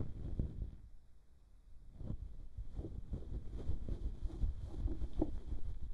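The feather tuft of a fluffy ear pick on a bamboo stick is rubbed across the bowl of a white silicone binaural microphone ear, producing soft, muffled rustling and brushing that is heavy in the low end. The strokes fade to near silence for about a second before resuming in denser, scratchier passes, over a faint steady tone near 3 kHz.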